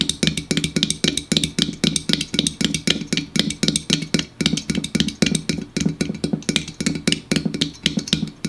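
Fingertips tap rapidly on the side and top of a standard 12 oz Hy-Vee Diet Mountain Drive aluminum soda can, apparently unopened and full, standing on a wooden table. The result is quick bursts of short, dry, hollow taps with a low tone near 180 Hz and almost no ring, repeating unevenly throughout the clip.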